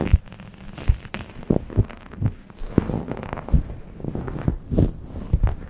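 A grey microfiber towel draped over a Blue Yeti microphone is scratched with long nails and rubbed by fingers, at both fast and slow paces. The result is a muffled, bass-heavy series of soft thumps and rustling scrapes with almost no high end, over a faint low hum.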